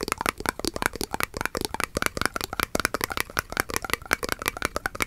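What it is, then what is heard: Glass jar partly filled with liquid. Fingers and nails rapidly tap and scratch a clear, hollow glass mason jar held horizontally and partly filled with glowing liquid. The result is a dense run of about 27 short, dry clicks with little ring, bright glassy tones and a faint liquid rattle.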